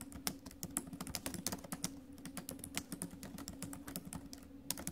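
Fast typing with fingertips and nails on a silver metal laptop with plastic keys, producing a dense run of sharp, bright clicks and taps. The taps sit over a steady low hum, and each click dies away almost instantly.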